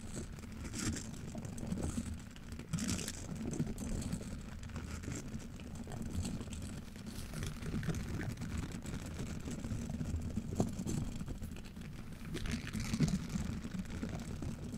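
A single orange-pink silicone scrub brush with long bristles is rubbed and rocked by black-gloved hands across a metal mesh microphone grille, its bristles brushing and scratching the mesh. The result is a steady, dense, muffled scratching with a heavy low rumble, broken by occasional brighter swishes.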